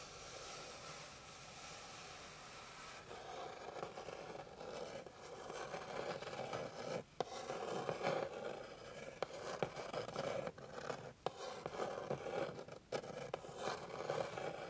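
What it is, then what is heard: Wooden board being scratched. Long pink nails scratch along the grain of a flat, light, solid wooden board, making a dry, rasping scrape centred in the midrange. A steady, smooth scratch opens the clip, then it breaks into uneven strokes with brief pauses and small sharp ticks as the nails catch the wood.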